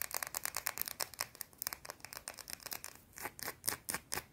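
Long blue-painted nails scratch fast across a small, solid, round white soap bar, making a rapid run of about 25 short, dry scratching strokes. The strokes are bright and high, with little low end. Each one cuts off almost at once, and the last second brings a few louder, more spaced-out scrapes.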